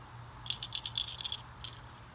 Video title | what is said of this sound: Sept 2016 LTB unboxing | Shake it. It has a rattle.